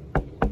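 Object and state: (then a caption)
Delaminated surfboard deck spot. Two knocks on a soft delaminated spot of a fiberglass-over-foam surfboard deck, where the glass has separated from the foam into a bubble. Each knock gives a dull, hollow, low thud that dies quickly, with little high-frequency content. The hollow sound reveals the delamination.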